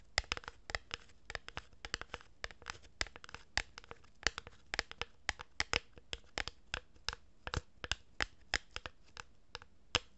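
A hollow cardboard tube is held horizontally in both hands while fingers with long nails rub and scratch its surface. The result is a quiet, steady stream of short, dry, bright scratching ticks with a papery crinkle and no ring after each stroke.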